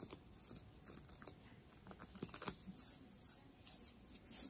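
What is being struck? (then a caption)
Denim jeans fabric. Long nails scratch the fabric of ripped denim jeans over the knee. The result is quiet, dry, bright scratching and rasping in short, uneven strokes, with a soft low rustle underneath.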